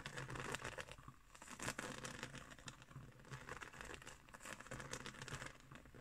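Fingernails scratch and tap across the woven coils of a round, coiled straw placemat, making a steady, crisp crackling rustle dotted with soft, short taps. A faint low hum runs underneath throughout.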